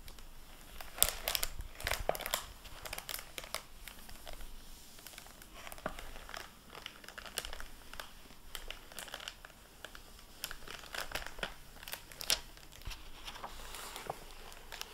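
A plastic-covered paper dust jacket flap on an open hardback book is wiped with a microfiber cloth and handled by fingertips and nails. The result is soft, bright crinkling with scattered sharp crackles and rustles throughout. It is quiet and close.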